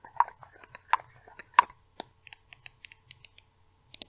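A small pink plastic cosmetic bottle with a label is held in the hands and tapped and scratched with long red nails. About 13 short, dry taps stand out: the first few are louder with a tone near 1 kHz, and scratchy rustling sits between them. The later taps are quick, bright, high clicks that stop almost instantly.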